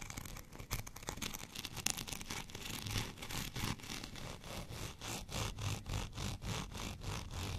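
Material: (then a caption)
Plastic. Fingernails of both hands scratch a white, bumpy plastic rolling pin. The result is a quick, dry, bright rasp in rapid, uneven strokes of about three per second, over a soft low rumble.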